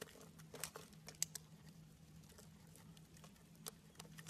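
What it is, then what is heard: Soap bar being carved. A metal blade carves and scrapes shavings from a solid pink branded soap bar held in the hand. Quiet, crisp, bright scraping ticks and short crackles come at irregular intervals over a steady low hum, with a longer quiet stretch in the middle.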